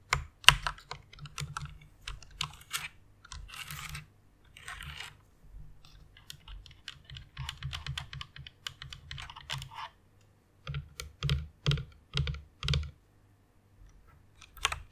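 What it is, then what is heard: Plastic mechanical keyboard. Long nails type on the keys of a white plastic mechanical keyboard with an RGB backlight. Quick runs of bright, clacky key taps with a soft low thump beneath are broken by short pauses. Each click dies away almost at once.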